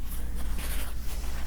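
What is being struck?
Nothing is struck.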